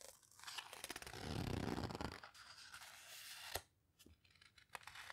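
A page of an open paper photo book is flipped and the pages are squeezed between fingertips, producing a soft, broadband papery rustle that swells and fades. A sharp crisp snap of paper follows, then quieter scattered crackles and ticks as the pages settle.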